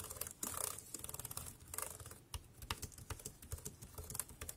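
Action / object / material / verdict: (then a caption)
tap / plastic computer keyboard / plastic / none. Fingertips type quickly on a dark grey, compact, plastic wireless keyboard, making a steady run of short, dry clicks. Each keypress has a bright, high tick over a soft low thump, with a few louder, fuller presses standing out among the quieter ones. The keystrokes die away almost instantly, leaving no ring between presses.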